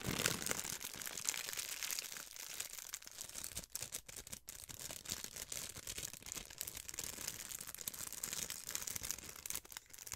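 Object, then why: Thin plastic film. A thin sheet of clear plastic film, bunched in one hand, is squeezed and crinkled with the fingers. The result is a steady, bright, crackling rustle of dense small crackles with almost no low end, dipping briefly into near silence a few times around the middle.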